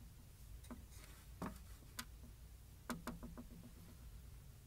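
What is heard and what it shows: A ceramic container with a wooden top is tapped in a quiet indoor space, giving several short, clinking, glass-like taps with a low tone near 240 Hz. The taps are spaced irregularly, with a quick cluster near the end, and each one dies away almost at once.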